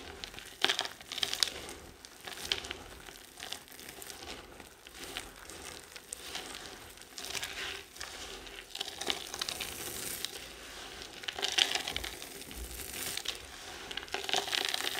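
Both hands, fingertips with dark-painted nails, squeeze, rub and crumble a loose pile of dry, crumbly pink, yellow and white soap flakes and chunks, solid brittle pieces resting on a flat surface. A steady stream of dense, bright crunching and crackling plays with almost no low end, rising and falling in small swells as the flakes break apart.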